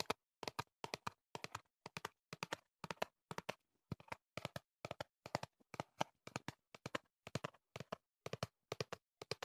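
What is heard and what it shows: Fingertips tap the faces and edges of a tall, hollow, printed cardboard box held in the hand. Quick bursts of two or three dry, hollow taps repeat steadily, each dying away almost instantly with a midrange knock and a little bright click.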